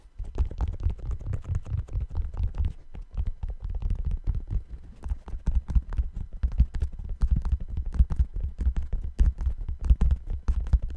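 Fingertips tap and scratch the side of the upper on an empty, hollow brown suede sneaker with a white rubber sole. The result is a continuous, rapid stream of soft, dull, muffled thumps, almost entirely deep and low with no bright edge, each tap dying away almost instantly.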